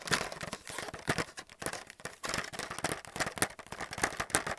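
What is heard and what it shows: Fingernails tap and scratch quickly on a held-up blister pack of white plastic paint palettes. The result is a dense run of crisp, crinkly clicks and scrapes with bright highs, little low end, and no lingering ring.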